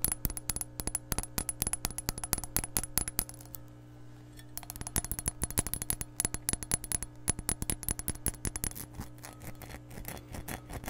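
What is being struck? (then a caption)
Glass measuring cup. An empty glass measuring cup is held up and tapped rapidly with long nails. Quick, bright clicking taps run in dense bursts with a short pause around four seconds, each hit dying away almost instantly over a steady low hum.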